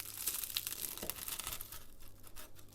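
A freshly baked pastel de nata, an egg custard tart with a puff pastry shell, is cut open close up. It makes a dense, bright crackling of tearing and crinkling flakes. The shell is crispy.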